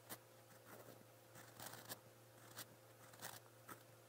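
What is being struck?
Steel pen nib on a lined paper notebook page.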